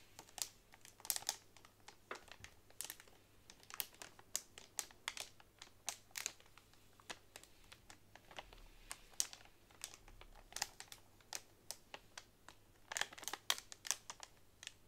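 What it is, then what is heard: Plastic-wrapped bundle of bamboo straws. A long fingernail taps and scratches across a pack of hollow bamboo straws wrapped in clear plastic. Quick, dry, bright clicks come in uneven bursts, with the plastic crinkling softly between them and almost no low end.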